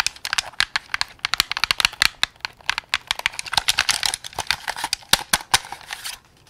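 A white and black hollow plastic Xbox game controller is held close, and fingertips quickly press and click its buttons and triggers. The result is a rapid run of many sharp, bright plastic clicks and taps that die away almost instantly, with little low end. A short quiet stretch falls near the end.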